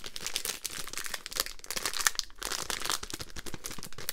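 A full, small roll-shaped pack of Polo spearmint mints in a crinkly printed foil-paper wrapper is held in both hands, then crinkled, squeezed and tapped with long green nails. A dense, continuous crinkling is heard throughout, full of sharp, bright crackles and a few louder snaps over a soft low rustle.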